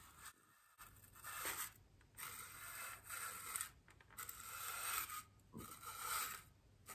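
A small paintbrush with natural bristles and a wooden handle brushes and rubs the surface of a large, solid white polystyrene foam wreath ring lying on a table, while a hand with long green nails holds the ring. The brushing comes in slow, uneven bursts of dry, bright, scratchy hiss with a faint high squeak, separated by quiet pauses.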